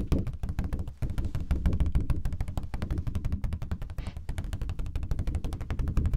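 Fingertips and nails tap rapidly on a thin, flat, red translucent plastic sheet or folder, about A5 size, held up in both hands. The result is a dense, fast patter of short, dull taps with a deep, thumping body and crisp edges that die away almost instantly. The tapping runs steadily, with brief dips near the one-second and four-second marks.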